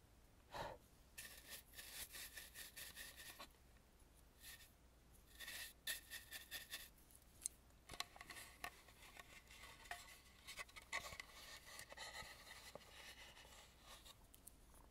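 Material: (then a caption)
Wood. A large dry brush sweeps around the eyes of a hollow, red-painted carved wooden mask. The result is a quiet run of soft, bright, bristly rubbing strokes, mostly high-pitched hiss with little low end.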